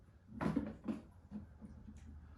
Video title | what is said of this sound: DIY PVC Ice Packs | they're not completely frozen. You can hear it sloshing around in there a little bit, but they're still really cold.